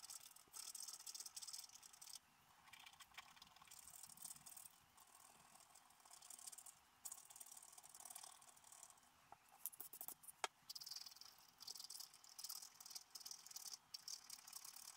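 A wooden stylus scratches leaf details into a black-coated scratch-art paper card lying flat. The sound is a dry, bright, rattly scraping made of quick strokes in bursts, with a softer stretch in the middle and a few sharper ticks near the end.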